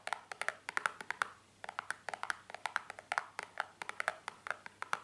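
A small, hollow, white printed cardboard cream box, held on a towel, is tapped with long painted fingernails. The result is a quick, irregular run of about thirty short, dry, clicky taps with a hollow tone around 1.4 kHz and no ring after each hit.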